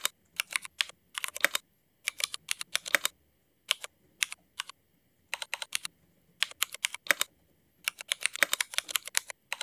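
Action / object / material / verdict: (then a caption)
tap / mechanical keyboard with plastic keycaps / ABS plastic / none. A mechanical keyboard with black Cherry MX ABS plastic keycaps is typed on with the fingertips of both hands. Quick, bright plastic clacks come in short bursts separated by brief pauses, each keystroke sharp and dry with almost no low end.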